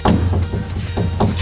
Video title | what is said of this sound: Lizard Skin Sound Control & Ceramic Insulation on a ’55 Buick Special: Seal That Trunk Like a Pro! | Sounds much more solid. And that's only with the one coat.